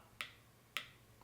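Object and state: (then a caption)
Creme brulee sugar crust set hard. A spoon taps twice on the cooled, torched caramelized sugar crust of a creme brulee over creamy custard. Each tap gives a short, sharp, high-pitched tick that dies away almost at once. The crisp sound shows the caramel has set hard and brittle, as expected.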